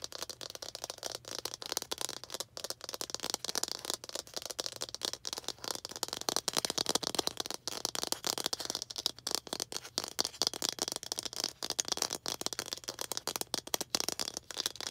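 A small hollow red plastic toy ball with baseball-style stitching is held up close and tapped and scratched with long green acrylic nails. A fast, steady stream of crisp clicks and scratchy rustling fills the whole clip, bright and dry, with each tap cutting off instantly.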